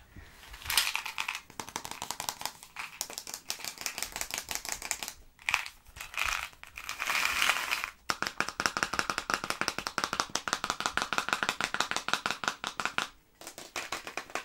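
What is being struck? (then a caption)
Cardboard candy tube. Fingertips and nails tap quickly along a long, yellow, printed cardboard tube of sugar-coated chocolate candies, likely partly full, held in both hands. The result is a dense, dry, bright clicking and rattling with a faint hollow ring near 2.5 kHz. Bursts of rapid taps are separated by brief pauses.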